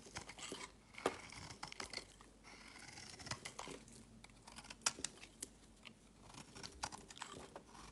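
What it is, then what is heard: Bar of soap being carved. A metal knife blade carves and shaves a solid, palm-sized oval bar of green soap held in one hand, sending soap curls falling away. The sound is a quiet, bright, crisp scraping and crumbling texture, broken by irregular sharp clicks and crunches as the blade bites into the bar.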